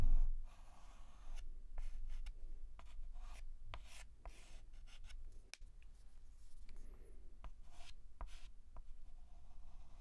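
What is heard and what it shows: A white chalk stick held in the fingertips writes and scratches letter strokes on a flat black chalkboard. Quiet, dry, bright scratches and short taps come in irregular bursts over a low background rumble, with a louder soft thump at the very start.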